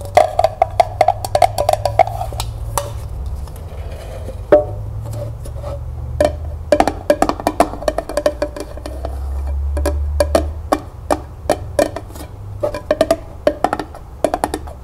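Long nails tap and scratch a striped pink, red and magenta hard plastic tumbler, hollow and empty, as it is held and then turned upside down to work the base and the sides. Rapid, sharp clicks with a short hollow ring around 600 Hz come in quick bursts over soft, steady scratching.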